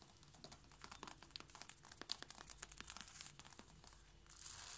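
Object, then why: Wooden or laminate floorboards. Long light-blue painted nails on both hands tap rapidly on flat wooden or laminate floorboards in front of a knit mat. The result is a dense, quick stream of crisp, dry, bright clicks with very short decay, much like crinkling. A brighter, hissy wash rises near the end.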